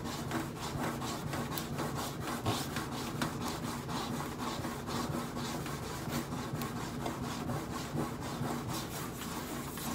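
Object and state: Stainless steel microwave panel scratched.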